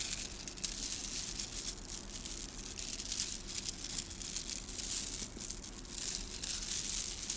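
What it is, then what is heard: Plastic bead garland. A long strand of small, hollow, gold metallic-coated plastic beads is held in both cupped hands and squeezed, rubbed and shaken with the fingertips. The result is a steady, bright, crinkly rattle of beads clicking together, with quiet low rumble underneath throughout.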